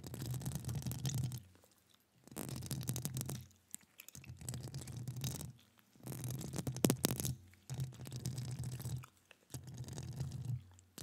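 Long acrylic nail tips scratch and tap across the hollow metal mesh grille of a studio microphone. The sound comes in six bursts of dense, rasping scratching, separated by short quiet gaps. Each burst carries a heavy, boomy low rumble under a thin, bright crackle.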